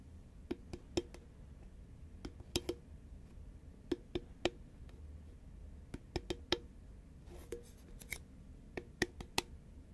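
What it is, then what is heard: Cardboard snack can tapped with nails. Long nails tap and scratch the printed side of a hollow green Pringles composite cardboard can, held upright and tilted. About nineteen short, sharp clicks with a hollow, low-mid ring ring out over a faint steady background, with a brief scratching rasp near the end.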